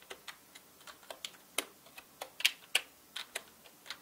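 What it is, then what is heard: Plastic mechanical keyboard. Fingertips type on a full-size black mechanical keyboard with plastic keycaps. Quick, bright, clicky taps come at an uneven pace and die away almost instantly, with a few louder clacks standing out among the softer keystrokes.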